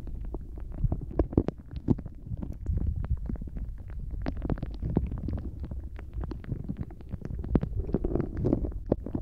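A translucent blue rubber dolphin squishy toy full of gel water beads is held in both hands, bent and squeezed with the fingertips just above a microphone. The result is a dense, low, wet squelching with a rapid stream of short crackling pops and clicks, a few sharper snaps standing out throughout.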